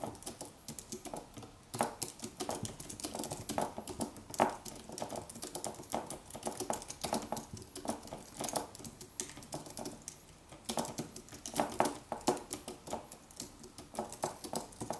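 Fingertips type on a silver Apple wireless keyboard with white plastic keys, an aluminium body and a cylindrical battery tube, resting on a white table. A quiet, steady run of soft, quick clicks and taps continues throughout, each dying away almost at once, with a mid-range body and bright tick edges.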